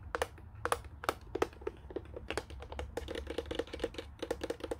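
Fingertips and nails tap and scratch quickly over the speaker grille and the casing around the keypad of a white, hollow plastic Panasonic corded desk phone. The result is a fast, uneven run of short, dry plastic clicks, each with a hollow, mid-pitched knock and a bright tick that dies away almost at once, with a faint low rumble underneath.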